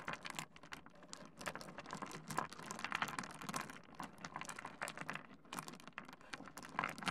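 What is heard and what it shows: A heap of small solid pebbles on a wooden desk is dug into and scratched through with the fingertips of both hands, the stones knocking together. It makes a dense, continuous patter of quick, dry clicks and rattles with a crisp, bright edge and almost no ring after each knock.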